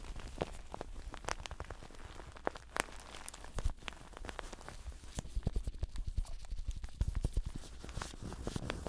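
Blue nitrile-gloved fingertips scratch and grip the surface of a medium-sized, solid stuffed plush toast pillow made of yellow fleece-like fabric with a brown crust edge. The result is a dense stream of soft, dry scratching and rustling, broken by many short, sharp crackling clicks over a steady low rumble.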